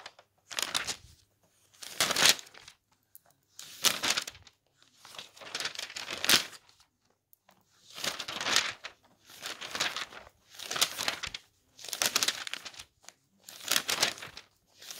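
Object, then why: Thin glossy paper catalog. Fingertips of one hand lift and flip the pages of a thin glossy paper clothing catalog lying open on a table. Each turn makes a short, bright crinkling and flapping burst, separated by brief quiet pauses, with almost no low end.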